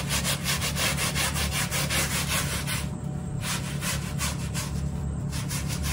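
A small hand brush scrubs back and forth across the pile of a dry, brown plush microfiber bath mat while the other hand holds the mat in place. Steady, rhythmic scratchy strokes, about two or three per second, give a bright, bristly hiss over a constant low hum. The scrubbing briefly softens twice, near the three- and five-second marks.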